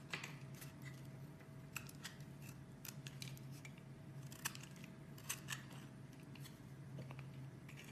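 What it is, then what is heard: Bar soap being shaved. A metal blade shaves thin curls off a solid cream-colored bar of soap held in the hand, and the curls pile up below. Quiet, dry scraping and cutting strokes come in short, bright bursts over a steady low hum.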